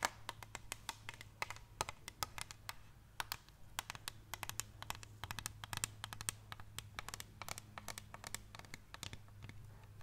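A large clear plastic water bottle, partly filled with water, is held up close and tapped and scratched with long painted nails. A rapid, irregular stream of sharp, bright clicks and short scratches runs throughout, each dying out almost instantly, over a steady low hum. The overall level is quiet and close.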